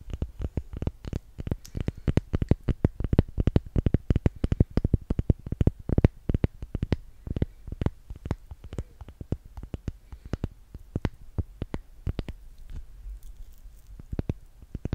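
A small, solid pink handmade soap bar with a yellow top layer is held in one hand and tapped and scratched with long painted nails. A rapid, steady stream of short, dry taps and clicks continues for the whole clip, each one dull and low with almost no ring, mixed with faint scratching.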